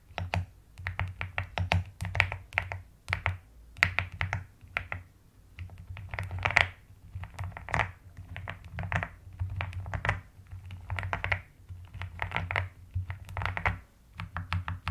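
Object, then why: Plastic mechanical keyboard keys. Long nails tap and type with both hands on the keycaps of a pastel plastic mechanical keyboard. The result is a steady run of short, crisp clicks in uneven bursts, bright in the upper range, over a constant low hum.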